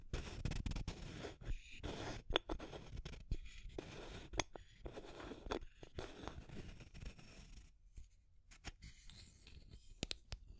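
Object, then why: Plastic tube container with aluminium screw lid. Long nails scratch the label and body of a small labeled clear plastic tube with an aluminum screw lid, making a dry, continuous scraping rasp broken by sharp clicks. Toward the end the scratching thins out into quieter, brief, bright taps on the metal lid.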